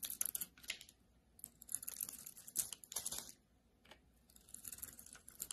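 A solid rectangular bar of soap, with a red outer layer over a blue-white marbled core, is held in the hand and shaved with a metal utility-knife blade. Quiet bursts of crisp, bright scraping and crackling come in clusters, separated by short near-silent pauses, with almost no low end.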